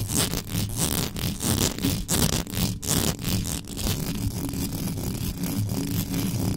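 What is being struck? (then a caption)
Metal mesh microphone grille. Extra-long yellow nails scratch fast across the top of the hollow metal mesh grille on a black condenser microphone. The result is a dense, continuous scraping with bright, raspy bursts over a heavy low rumble, in quick, rhythmic strokes that continue steadily throughout.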